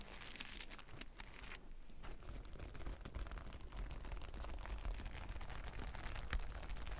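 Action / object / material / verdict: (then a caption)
scrape / plastic sequin fabric / plastic / none. Long nails scratch and rake over a large flat sheet of reversible plastic sequin fabric, giving a dense, continuous crinkling and crunching rustle. Quick bright clicks ride over a steady low rumble, with a brief lull before the scratching resumes at a slightly louder level.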